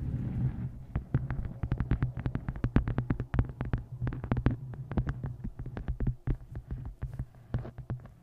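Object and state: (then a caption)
Hardcover book tapped with nails. Long nails tap and scratch the cover and taped photo of a solid, closed, dark-covered hardcover book resting on a microphone. Dense, rapid, dry clicks with almost no ring sit over a steady low hum. Most of the sound is a deep, boomy low end.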